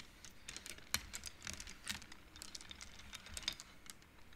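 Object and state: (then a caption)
Wooden abacus beads clacking. Fingertips and nails rapidly push colored wooden beads along the metal rods of a large wooden-framed abacus, making them clack. The result is a quiet, irregular stream of short, bright clicks that die away almost instantly, with little low end.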